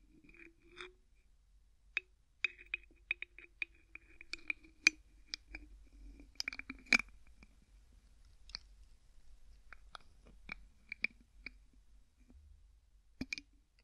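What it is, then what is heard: Plastic bottle screw cap being twisted. Fingertips repeatedly twist the white plastic screw cap on an empty clear plastic bottle, producing a string of short, sharp clicks with a bright tone near 2.4 kHz. The clicks come in uneven clusters, separated by soft scraping and rustling.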